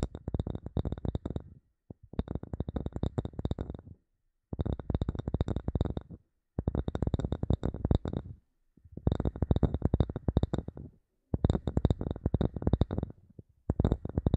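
A third wooden object is tapped with quick fingertip-like taps for ASMR, in seven rapid bursts separated by short pauses. The taps are dull, low and woody with almost no ring, and faint steady high tones run beneath them.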